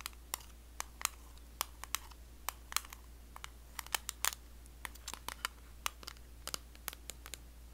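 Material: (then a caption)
Metal. A closed, small round blue metal Nivea Creme tin (56 g), held near the face, is tapped and scratched with long blue acrylic nails. About 29 sharp, bright clicks ring out at irregular intervals over faint scratchy texture and a steady low hum. Each tap dies away almost instantly.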